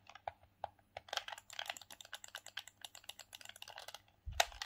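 Thumbs press the face buttons and D-pad of a hollow, grey hard-plastic Sega Saturn hand-held gamepad. About two dozen quick, dry plastic clicks tap out in an uneven rhythm, each bright and dying almost instantly. Near the end comes a louder clack with a brief low thump.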